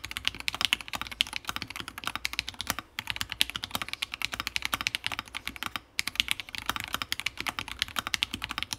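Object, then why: Mechanical keyboard, plastic keycaps, brass plate. Both hands type rapidly with their fingertips on a Fusion60 60% mechanical keyboard build with FFFF switches, a brass plate and plastic keycaps. The result is a dense stream of bright, sharp clacks with very short decay, broken only by brief pauses near 3 and 6 seconds.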